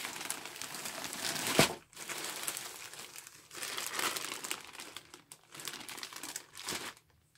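A large grey star-printed polyethylene courier bag, hollow with clothing inside, is pressed flat by gloved hands, then gripped and pulled open at the seal. Bright, dense plastic crinkling comes in several bursts, with a sharp tearing snap partway through and brief quiet gaps between bursts.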